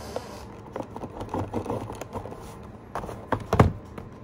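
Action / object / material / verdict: scrape / printed cardboard box / cardboard / none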